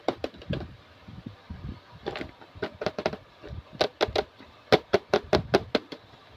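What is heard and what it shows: A translucent pink plastic carry case with a handle and clasp, hollow and full of small plastic toy accessories, is handled, tapped and knocked with long blue-painted nails and fingertips. It gives an irregular run of short, dry, bright clicky knocks with a hollow midrange body and no ring, growing busier and louder toward the end.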